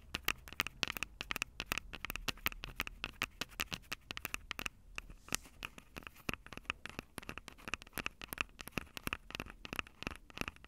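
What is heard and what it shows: Long acrylic nails tap and scratch the mic capsules of a Tascam DR-05 handheld recorder, which has a plastic body and metal mic grilles. Dozens of rapid, sharp, dry clicks sound with almost no ring, mixed with brief scratching between them. The sound is bright, with a steady tone near 2 kHz, and there is a faint low hum underneath.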